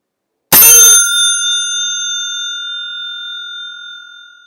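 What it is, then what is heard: Brass bicycle bell. A newly unboxed Timber and Crane Suzu brass bicycle bell, made in Osaka, Japan, is struck in a ring test. A bright, sharp strike gives way to a clear, high ringing tone with shimmering overtones that sustain and slowly fade over several seconds.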